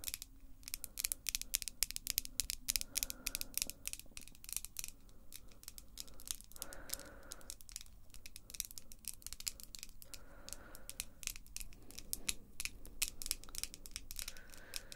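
Long, glossy pink acrylic nails, small and solid, are tapped against each other using the nail tips of both hands. The result is a fast, continuous run of sharp, dry, bright clicks with almost no ring, with brief softer mid-pitched tones now and then.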